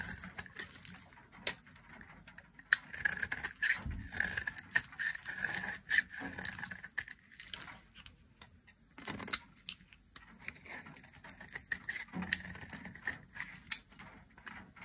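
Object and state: Dry soap bar being shaved.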